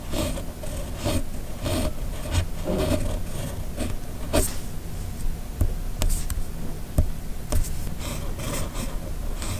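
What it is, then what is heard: Paper scratched by a steel pen nib while writing. A steel nib on a hand-held red plastic fountain pen scratches across a flat white sheet of paper while writing cursive letters. Steady, low-heavy scratching strokes rise and fall with each letter, broken by short, sharp ticks as the nib catches and lifts.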